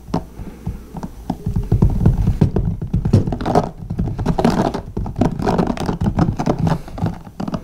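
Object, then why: Plastic paddle hairbrush. A blue plastic paddle hairbrush lies bristles-up on a notebook while the fingertips of both hands rapidly tap and strum its white plastic bristles. The result is a dense, fast patter of short, dull taps and scratchy strums, weighted toward the low end with little brightness, each hit dying away almost instantly.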